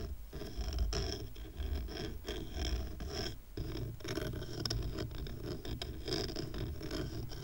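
Fingernails scratch the rough raw-wood underside of a twine-tied stack of square wooden coasters. The result is a steady, dry, rasping scratch with a dull low rumble beneath it, dipping briefly near 0.3 and 3.6 seconds before continuing.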